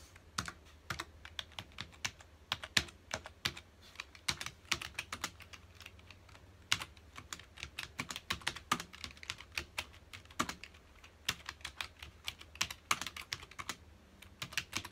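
A full-size black plastic computer keyboard on a dark desk is typed on rapidly with the fingertips of both hands. Dozens of quick, bright, clicky taps come in uneven bursts, each dying away almost at once, over a faint steady low hum.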